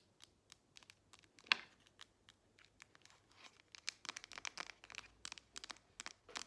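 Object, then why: Smartphone with metal back. A grey Samsung smartphone with a solid metal back, held in both hands, is tapped and scratched with long nails on its back and edges. Quiet, bright, dry clicks and short scratchy strokes come sparsely at first, with one sharper tap early on, then grow denser and busier toward the end.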